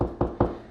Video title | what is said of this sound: Beginners Guide to Upper Kitchen Cabinet Installation (Kitchen Remodel Epi #6) | i know for a fact that there's a stud here because of that tone